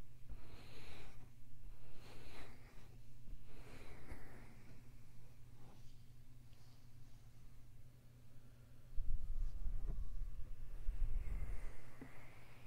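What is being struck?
Nothing is struck.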